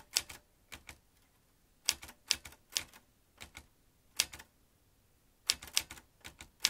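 Fingertips tap the round keys of a vintage metal manual typewriter, producing bright, sharp key strikes with very short decay. The strikes come in irregular clusters separated by brief pauses, with almost no low-end body.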